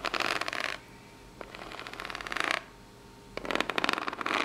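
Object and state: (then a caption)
Corrugated cardboard box. Long natural nails scratch and tap the ribbed surface and edges of a small corrugated cardboard box. Three bursts of dry, bright, rapid scratching with quick clicky taps are heard, separated by near-silent pauses.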